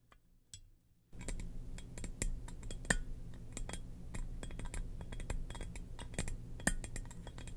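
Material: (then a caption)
Ceramic. Long nails tap and scratch the top of a hollow, glossy black ceramic jar shaped like a Darth Vader helmet, standing on a rug. After a near-silent first second, a dense run of quick, dry clicks and scratchy taps follows over a steady low hum. A couple of sharper, brighter taps stand out near 3 and 6.7 seconds.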